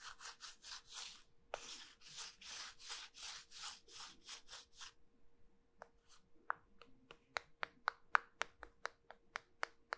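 Two halves of a small, solid, cylindrical pink starch-coated soap bar are held in both hands with long nails and rubbed and squeezed together, making rapid, dry, bright rubbing strokes for about five seconds. This is followed by 13 sharp, quick clicks, with a faint steady low hum underneath throughout.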